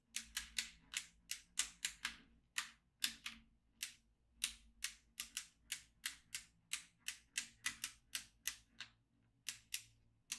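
A yellow magnetic pen is drawn over the grid of a black plastic magnetic drawing tablet with steel beads, making the beads click. About 30 sharp, bright clicks come in quick, uneven bursts, each dying away almost at once, with a faint low hum beneath.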